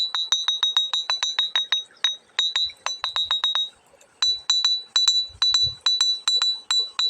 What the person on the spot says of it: bunyinya tuh nyaring beda dengan yang lain seperti ini